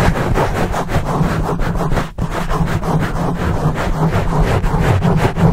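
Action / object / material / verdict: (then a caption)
scrape / foam microphone windscreen / foam / none. Fingers of both hands scratch and rub the top and sides of a dark, black foam microphone windscreen. The result is a steady, dense, low rumbling scrape with rapid rustling pulses and little high content, dipping briefly near the two-second mark.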